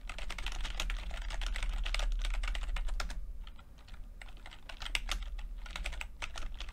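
Fingertips of both hands type continuously on a full-size plastic computer keyboard with red and blue backlit, low-profile keys. The result is a steady stream of quick, bright key clicks, with a brief softer lull in the middle before the tapping picks back up, all over a faint low hum.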